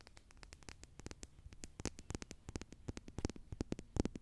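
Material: Plastic.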